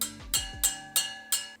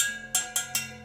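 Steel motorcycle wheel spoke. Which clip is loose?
The first.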